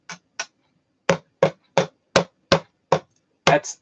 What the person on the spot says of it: I'm going to tap this. That's bouncing. It's steel.